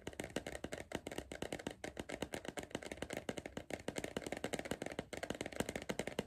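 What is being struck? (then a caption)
Cardboard crisp tube. Fingertips tap and drum on the side wall of a hollow Pringles cardboard crisp tube gripped in hand. Around forty quick, dry taps come in a steady, busy patter, each with a hollow mid-low thump and papery clatter that dies away almost at once.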